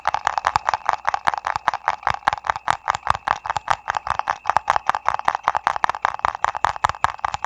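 A small printed paper ice cream cup, held in both hands, is tapped quickly with fingertips and nails. The result is a fast, continuous run of crisp, dry, hollow clicks centered in the midrange, each stopping short with almost no ring and a faint bright edge.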